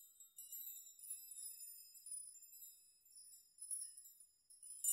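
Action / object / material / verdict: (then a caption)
shake / hanging metal nails / metal / none. Hanging metal nails are rocked back and forth with both hands so they knock together. Bright, high tinkling chimes come in soft, overlapping bursts with very short ring, with no low end at all.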